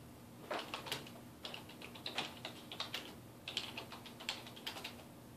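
Fingertips type and tap on the keys of a dark plastic desktop keyboard resting on a wooden desk. The result is a quick, irregular run of short, bright plastic clicks centred near 3 kHz, each dying away almost at once. A faint steady low hum sits underneath.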